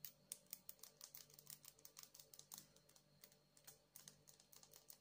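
Long acrylic nails tap and scratch on a palm-sized solid blue agate stone with a rough, faceted surface, held up in the air. A quick, uneven run of about thirty light, dry, bright clicks and scrapes sounds, each dying away almost at once over a faint steady low hum.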